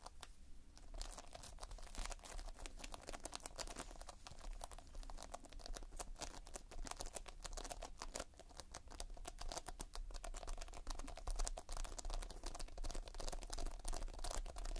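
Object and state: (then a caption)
Playfoam foam-bead modelling compound. Fingertips press and scratch across the surface of multicolored Playfoam, a material of foam beads in a sticky binder. The result is a dense, irregular stream of tiny crackling, crinkling clicks over a steady low hum, holding at a fairly even level throughout.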